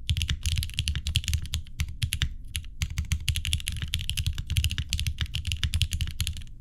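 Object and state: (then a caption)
Mechanical keyboard with plastic keycaps. Both hands type with their fingertips on a green-cased mechanical keyboard with an aluminum plate, linear switches and cream plastic keycaps, resting on a wooden desk. A fast, steady stream of short, deep clacks with bright, clicky tops fills the whole clip without a pause. Each keystroke dies away almost at once.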